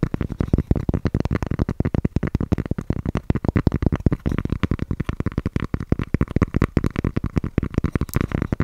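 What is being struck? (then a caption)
Cork coaster. Fingertips and long painted nails rapidly tap and scratch the surface of a thin, round, solid cork coaster-sized disc held in one hand beside the microphone. The taps are dull, low, and very short, with a steady rustling scratch underneath. A single brighter click comes near the end.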